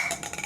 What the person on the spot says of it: ha ezt hallgatod inkább egy pattogó labdára hasonlít Amikor ütés éri a stabilabb anyag a POM